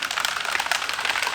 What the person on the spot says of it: you're picking it up you'll hear that rattle